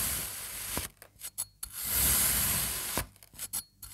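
A serrated knife cuts crosswise through a partly sliced slab of blue and red kinetic sand, leaving crumbly strips. Two long, bright, gritty rasping strokes are broken up by short, quiet scraping crunches as the blade drags through the sand.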